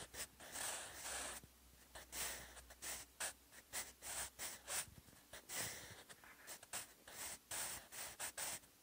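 A sharpened wooden pencil scratches short strokes across textured cream notebook paper already filled with pencil handwriting. It produces quick, bright, breathy scratches with little low end, starting with a longer sweep and then coming in short bursts separated by brief pauses.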